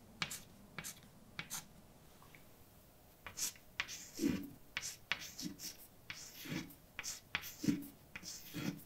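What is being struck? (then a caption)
Chalk on a blackboard. A hand writes letters with white chalk on a large, dark chalkboard with a flat, solid surface. Sharp, bright taps and short scratchy scrapes come in a quick, uneven series, with fuller strokes in the second half.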